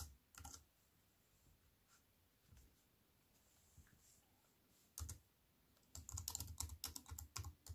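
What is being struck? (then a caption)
Aluminium-framed keyboard with plastic keys. Fingertips with long nails type on a wireless keyboard with an aluminium frame and black plastic keys. Sparse, dry clicks come early, then a quiet gap, a single click near five seconds, and a dense burst of quick taps at the end. The keystrokes have a thumpy low body and a bright, crisp click.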